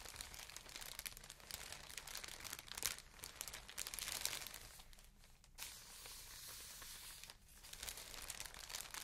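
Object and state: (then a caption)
Plastic air-cushion packaging. A large sheet of translucent green plastic air-cushion packaging, made of hollow, air-filled inflated pillows, is squeezed and crinkled by both hands with long painted nails. The result is a dense, bright crinkling and crackling that runs almost continuously, easing briefly around the five- and seven-second marks before picking up again.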